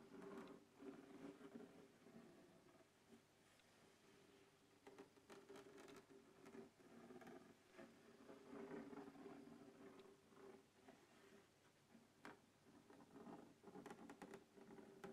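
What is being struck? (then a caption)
Hard plastic case. Fingertips and nails scratch and tap the lid of a closed black textured hard plastic case resting on a wooden table. Quiet, irregular scraping and soft clicking taps with a few sharper, brighter ticks come over a steady low-mid tone.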